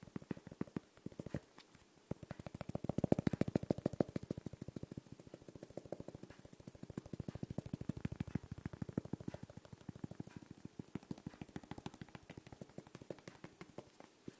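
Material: Glass.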